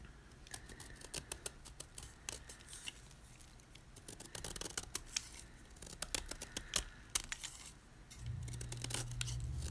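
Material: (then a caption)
Magnesium carbonate. A utility knife blade scrapes the face of a solid white gym chalk block (magnesium carbonate) held in hand, leaving scalloped flakes. Dry, bright scraping and crunching strokes come in irregular bursts over a quiet background. A steady low hum rises near the end.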